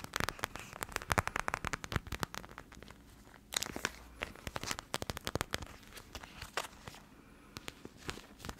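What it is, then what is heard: Plastic gel bead eye mask. A clear plastic eye mask filled with teal gel beads is squeezed with both hands and scratched with long yellow nails close to the mic. Sharp plastic crinkles and crackling clicks come in dense bursts, pause briefly near the three-second mark, then continue in sparser, softer clusters.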